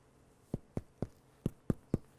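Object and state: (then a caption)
Baked bread loaf, hollow (done). A homemade bread loaf, just baked at 350 degrees, is tapped on its bottom seven times, giving short, dull, low thuds with a hollow tone and almost no ring. The hollow sound shows the bread is done.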